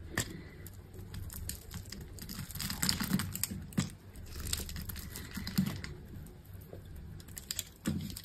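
A solid green bar of dry soap, cut in a grid and resting on a table, has small cubes and slices scraped off with a metal utility knife blade. The result is a steady run of dry, crumbly scraping and crackling, broken by sharp, bright clicks and soft low thuds as pieces break away.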